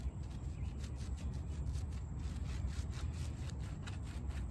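Fingertips and palms rub and scrub across the soft pile of a small, wet, sudsy, muddy shaggy fabric rug lying flat outdoors. A steady, heavy low rumble runs throughout, with faint, soft swishing strokes repeating on top.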